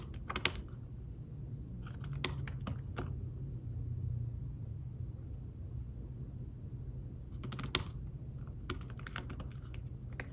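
Fingertips with short nails tap the keys of a thin, fabric-covered tablet keyboard case while typing. Soft, brief clicks come in scattered bursts with pauses between them, over a steady low hum. The taps are quiet and muffled, with little bright edge and almost no ring.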